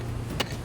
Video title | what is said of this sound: Frozen Gold EP11 Storms a Comin | when you tap the bedrock, you can hear if it's hollow and whether you can open it up